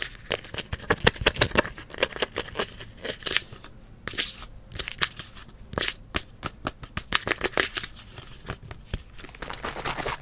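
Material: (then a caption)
Plastic. Fingers and nails scratch and tap along the body and blue nozzle of a hollow green plastic spray bottle held up close. The result is a rapid, uneven series of dry, bright clicks and scratchy rasps with almost no ring, broken by brief quiet gaps.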